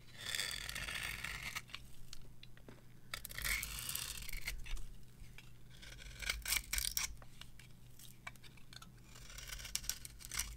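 A metal knife carves and scrapes a solid, dry, varnished bar of soap with purple edges and a cream core, held in the hand. Bright, crisp scraping and crunchy shaving strokes come in irregular bursts over a steady low hum.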